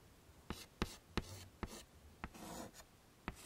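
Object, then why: Chalk on a wood-framed chalkboard. White chalk held in the fingertips scrapes and rubs shading strokes onto a wood-framed chalkboard. Six sharp, quick chalk taps and scratches, bright and dry with no ring, land at an uneven pace, with a longer soft rubbing stroke in between and a faint low hum underneath.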